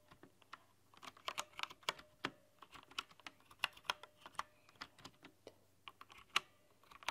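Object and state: Plastic mechanical keyboard.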